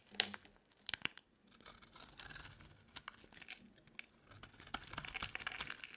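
A utility knife blade shaves curls from a solid, cream-colored, rectangular embossed bar of dry soap. The result is crisp, bright scraping and crackling, with sharp clicks near 0.2, 1 and 3 seconds. It ends in a denser stretch of shaving from about 4.5 seconds on.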